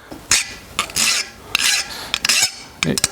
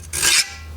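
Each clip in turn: First: soft, unhardened steel (file bites). Second: hardened steel chisel, file skates off.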